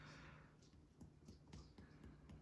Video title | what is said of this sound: video 2- NEURO/GI/AXILLA | it's still tympanic, so no splenomegaly